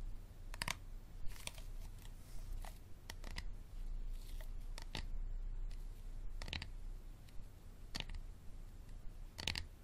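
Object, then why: Hard plastic water bottle. A hard plastic water bottle is tapped slowly and scratched without talking, giving sharp, dry clicks and taps spaced through the clip. The clicks are short and bright with almost no ring, over a steady low hum.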